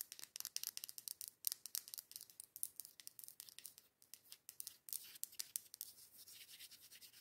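Long acrylic nails rapidly tap and scratch the outer wall of a matte dark-green glass candle jar, its lid off and white wax visible inside. Quick, crisp clicks and dry scratching strokes sound almost entirely in the high, bright range with no low body. The sharp hits die away instantly, and the final seconds settle into a softer, steadier rubbing texture.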